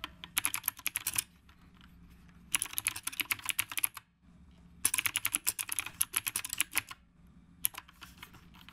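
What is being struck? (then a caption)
Mechanical keyboard with round plastic keycaps. Fingertips of both hands type steadily on a black retro typewriter-style mechanical keyboard with round plastic keycaps. Rapid, bright, crisp clicks come in four bursts separated by short pauses, each keystroke dying away almost instantly over a faint low hum.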